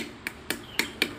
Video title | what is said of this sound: Ganti Seal Shock Depan Motor Mio Sporty | biasanya bunyinya beda kalau udah klop ya